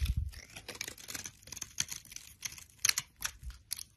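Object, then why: Bar of soap scraped with a blade. A solid rectangular bar of brown soap, held in a hand with long lilac nails, is shaved and scraped with a utility knife blade, piling up shavings. The clip is a quiet series of short, dry, crunchy scrapes with bright, hissy edges, set against a soft low thump at the start. Each stroke stops sharply with no ring.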